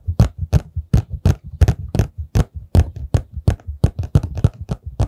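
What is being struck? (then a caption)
Cardboard tissue box. Fingertips and nails tap and scratch the sides of a hollow, rectangular printed paperboard tissue box held upright in both hands right in front of the microphone. A quick, uneven stream of short, dull, hollow thumps with crisp clicky edges runs throughout. Each tap dies away almost instantly with no ring.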